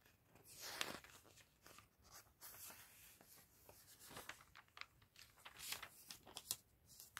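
A thin glossy paper fashion catalog lies open on a table while hands in a fingerless fluffy mitten and a white cotton glove with red-painted nails turn and flip its pages. Quiet, bright crinkles and papery swishes come in uneven bursts, with a few sharper flicks standing out as the pages settle.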